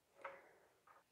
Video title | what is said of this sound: WHITE BREAD - Easy to Make White Bread - How To Make homemade white bread - LifeStyle with Sharon | you'll be able to tell it's cooked nicely because it'll be hollow sound